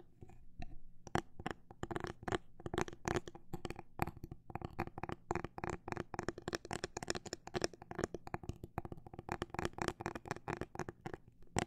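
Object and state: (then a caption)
Phone case tapped. A fingernail taps on a phone case in a quick, irregular run of short, dry clicks that stop almost instantly. The tapping goes on for the whole clip at varying speed, quiet overall and without any voice.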